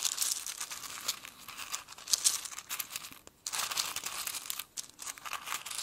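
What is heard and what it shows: A fingertip scratches and rummages through dried cardamom pods in a small, open, clear glass jar filled with them. The result is a steady, dry, crinkly rustle, bright and high with almost no low end, with brief quiet pauses around 3.3 and 4.8 seconds.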